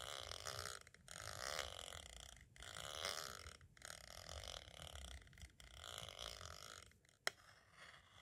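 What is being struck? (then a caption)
Plastic audio cassette shell. A pointed tool traces along the lower edge and the window of a small, hollow white hard plastic audio cassette shell. It makes long, bright, scratchy scraping strokes broken by brief pauses, then a single sharp click near the end.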